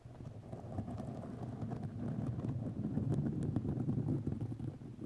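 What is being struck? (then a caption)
Fiberglass mesh tape on a microphone. White fiberglass grid mesh tape wrapped around a microphone is scratched with long nails. It gives a dense, continuous low rumbling scratch with rapid, uneven brushing strokes and faint bright ticks on top.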